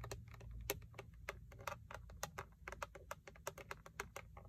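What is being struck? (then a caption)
Plastic steering wheel airbag cover. Long acrylic nails and fingertips tap and scratch the textured black plastic airbag cover at the center of a Toyota steering wheel, which has a chrome emblem. About 24 quick, dry clicks ring out over a low, steady rumble.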